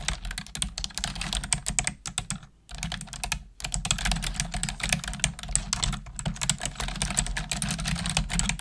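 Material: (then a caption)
Plastic. Long acrylic nails and fingertips type quickly on the hollow plastic keys of a black plastic desktop keyboard. The result is a dense, fast stream of bright, clicky taps with a low hollow thud under them. Two brief pauses break the typing near the middle.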